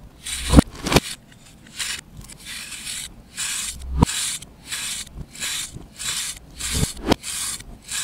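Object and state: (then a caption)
Compressed baking soda or chalk block being scraped. A knife blade scrapes across a solid compressed baking soda/chalk disc held in the palm, and the powder falls away. Short, bright rasping strokes repeat steadily with brief pauses, and a few sharp clicks stand out along the way.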